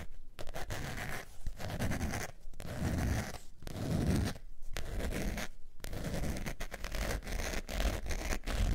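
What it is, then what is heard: Faux leather zip wallet. A beige textured faux leather zip wallet is scratched with long nails, producing dense, rough scratching strokes broken by brief pauses. The sound is a low, heavy rasp with a soft crackly texture on top.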